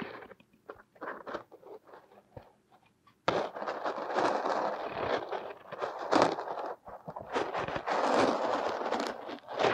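A thin metal hook digs and scrapes into purple kinetic sand packed over a small silicone nose shape, breaking off crumbly chunks. Scattered soft, crisp crunches and ticks come first, then the sound turns into louder, nearly continuous gritty scraping and crumbling with short dry crackles. The crackles have no ring.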